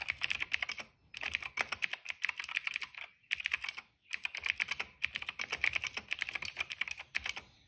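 Fast two-handed fingertip typing on a cream plastic mechanical keyboard produces dense bursts of bright, short, clicky key clacks with almost no low end. The typing runs in quick flurries separated by brief pauses, with each keystroke dying away almost instantly.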